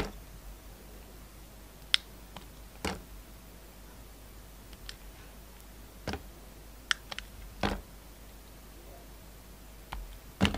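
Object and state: Soap bar being cut.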